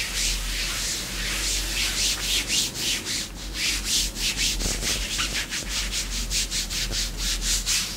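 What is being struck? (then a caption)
Faux leather leggings over a leg. Long pink nails on both hands scratch black glossy faux leather leggings, a thin, soft layer stretched over a raised thigh and knee. A continuous run of quick, bright, hissy scratching strokes rises and falls steadily over a faint low hum.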